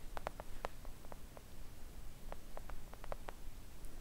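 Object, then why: Silicone mat tapped with acrylic nails. Long acrylic nails tap gently on a flat, thin, solid pink silicone nail art mat, perhaps scratching lightly across it. The taps are soft, short and dull, with a muted mid-range tone, spread irregularly over a low, steady rumble.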